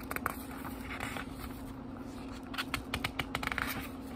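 Fingertips turn the thin paper pages of a small, thick book, making soft crackly rustles and brief papery flicks over a low, steady hum. About eleven short page flicks stand out, with a busier run near the end.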